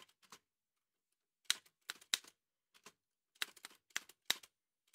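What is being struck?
Metal manual typewriter.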